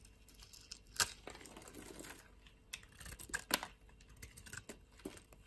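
A utility knife blade shaves flakes off a solid white bar of soap held between the fingers. Quiet, crisp scraping and crackling runs throughout, weighted toward the high end. Louder sharp snaps stand out near 1 second and 3.5 seconds.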